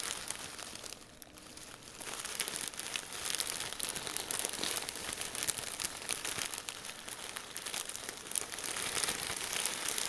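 A large Ziploc plastic bag full of red and green crinkle-cut paper shreds is squeezed and crinkled with the fingertips of both hands. The result is a steady, bright crinkling made of dense, rapid crackles that dips briefly near the start, then grows fuller and louder.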